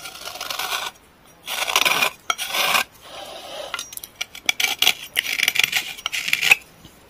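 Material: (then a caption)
Pressed clay. A small, solid gray stick of pressed clay or chalk, held in the hand, is scraped along its edge with a metal knife blade, dropping shavings onto a tray. Dry, bright rasping strokes come in bursts, some long and some short and choppy, with no low end and no ring after each stroke.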